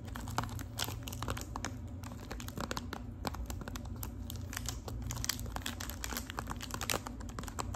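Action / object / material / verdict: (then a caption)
tap / small cardboard box wrapped in metallic foil / metal foil / none. Long acrylic nails tap and scratch a small Lipton tea box wrapped in gold metallic foil film. The result is a dense run of quick, crinkly clicks and bright scratches over a steady low hum.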